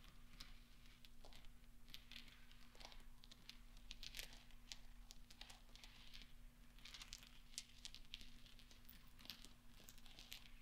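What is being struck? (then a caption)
Small steel balls. Fingertips with long nails push and roll small, solid steel pachinko balls across velvet, making quiet, bright clinks and light crinkly ticks scattered through the clip. A steady low hum sits underneath throughout.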